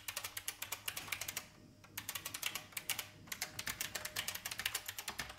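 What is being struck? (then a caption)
Plastic mechanical keyboard. Fingertips type steadily on a vintage IBM mechanical keyboard with plastic keys, heard close up from the side. About 39 sharp, bright plastic clacks come in quick runs with very short decay, broken by two brief pauses. Each keystroke stays crisp and dry, with little low end.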